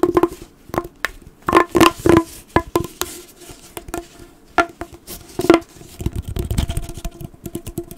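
A blue, hollow, corrugated plastic pop tube is compressed and bent in the hands while fingertips scratch and squeeze its ribbed surface. It gives a quick, irregular series of sharp pops and clicks, each with a short, hollow, mid-pitched ring. Between them come softer crinkling scratches, ending in a busier flurry of small clicks.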